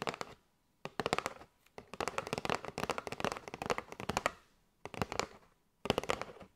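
Long nails tap quickly on a kraft cardboard box with a window, full of paper straws. The taps come in several rapid bursts separated by short silences, with a longer continuous run in the middle. Each tap is dry, crisp and bright, dying away almost instantly with a light papery rattle.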